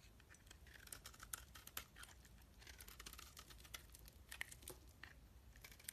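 A solid oval bar of soap, green outside and purple inside, is held in the hands and shaved with a metal knife blade. The quiet scraping and cutting make dry, crisp, crackly strokes that are bright and irregular, each stopping dead with no ring, over a faint low rumble.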